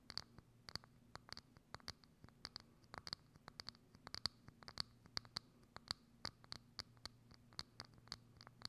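Long acrylic nails scratch and tap a hollow, thin, clear plastic dome lid with a knob that sits over a microphone. About 33 quick, sharp, bright clicks and scrapes come one after another with almost no ring, over a faint steady low hum.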